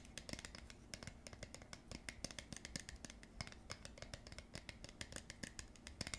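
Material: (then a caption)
Plastic. Long acrylic nails scratch and tap the ribbed rim and inner face of a round, hollow blue plastic screw lid with a white liner inside. The result is a quiet, steady stream of short, dry clicks and bright scratchy ticks that die away almost instantly, over a faint low rumble.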